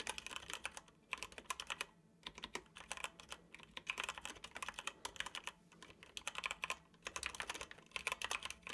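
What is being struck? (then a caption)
Plastic computer keyboard. Fingertips of both hands tap the keys of a dark plastic computer keyboard while typing. Quick runs of bright, sharp clicks come in bursts separated by short pauses, each click ending almost instantly with little low-end weight.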